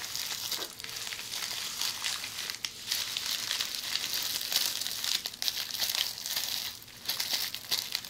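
A roll of red plastic bubble wrap held in the hands is scratched by long polished fingernails. The result is a steady, bright crinkling and scratching hiss with almost no low end, broken by quick sharp ticks and a few brief dips in level.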